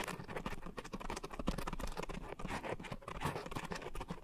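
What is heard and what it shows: Long nails scratch across the rough surface of a soft, porous round pink coarse foam scrub sponge set on a white foam base around two microphones. The result is a dense, close, crackling patter of quick scratches that is heavy in the low end, with little high brightness and short, dry decays.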